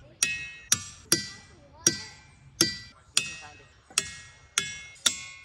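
A boulder at Ringing Rocks County Park, Pennsylvania, is struck with a hammer nine times at an uneven pace. Each blow gives a sharp, bright, bell-like ring with high metallic overtones that fades quickly.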